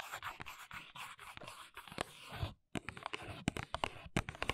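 Long nails scratch and tap the printed back panel of a small, hollow paperboard press-on nail box, heard close-up. Dry, continuous scratching gives way to a brief silence, then sharper, bright tapping clicks with a light hollow thump.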